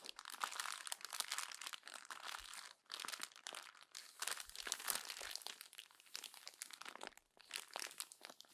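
Hands crumple the next page of a glossy paper magazine and press it flat against the spread. Dense, bright crinkling and crackling come in rolling bursts, separated by brief quiet gaps as the paper is worked and smoothed.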